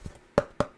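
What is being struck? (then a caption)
Foam costume chest plate. Three sharp, dry taps on a homemade, painted foam costume chest plate, each giving a short hollow knock with a mid-pitched ring near 570 Hz that dies away almost at once. The foam sounds like plastic, and metal strips are planned to give it weight.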